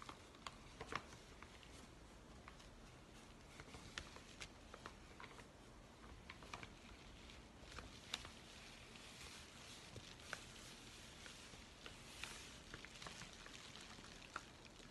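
Fingertips tap and scratch along the surface of a yellow kraft paper padded mailer held upright. The result is quiet, steady papery scratching with scattered sharp, bright taps and crinkles throughout.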